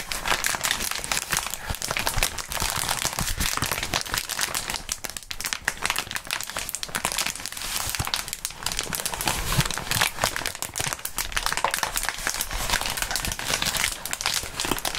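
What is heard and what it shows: Clear polyethylene bubble wrap with hollow air bubbles is bunched in both hands and squeezed and crumpled by the fingertips of fingerless-gloved hands. A dense, continuous crinkling with rapid sharp crackles fills the whole clip, bright and hissy, with brief dips around five and eight seconds.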